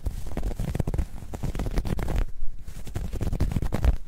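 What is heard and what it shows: Long nails scratch along the ribbing of a soft, hollow, dark grey ribbed knit fabric bag folded in the hands. The result is a continuous run of deep, muffled, rumbling scratches with quick, dense strokes. The sound sits almost entirely in the low end, with no bright edge.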